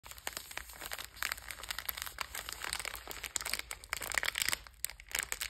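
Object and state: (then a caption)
Plastic-wrapped biscuit pack. A sealed purple Bisbox biscuit pack, about hand length, with a metallized plastic wrapper and full of sandwich cookies, is held in both hands and squeezed and crinkled by fingertips with long red nails. Dense, bright crackling and crinkling rustles run continuously, with sharper snaps scattered throughout and almost no low end.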